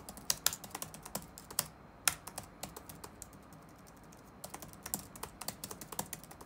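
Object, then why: Plastic laptop keyboard. Fingertips rapidly tap the black plastic keys of an open laptop resting on a wooden desk, producing about 29 short, bright, dry clicks with almost no ring. The typing runs in quick bursts, with a quieter gap in the middle before it resumes.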